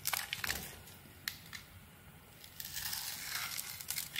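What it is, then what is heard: Bar of soap being carved. A small metal blade cuts slices along the edges of a hand-held solid white soap bar coated in red glitter, and chunks fall off. Bright, crisp crunching and crackling scrapes cluster at the start, with a couple of sharp clicks, a quieter pause, then a longer, denser stretch of crunchy cutting to the end.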